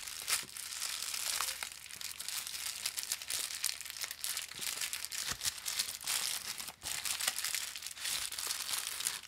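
Fingertips grip and pull along the tear strip of an empty-looking white and blue Amazon Prime poly bubble mailer envelope, made of thin plastic film with a bubble lining and lying flat. A steady, bright crinkling and crackling fills the clip, broken by sharp tearing snaps, with almost no low end.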